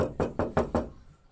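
Knuckle knocks in quick succession on a steel car door panel with no sound-deadening fitted, compared against a door lined with foil-backed deadening mat and closed-cell rubber. Each knock is a short, dull, mid-low thud centred around 230 Hz that dies away quickly, with no high ring. The unpadded door gives the hollower knock.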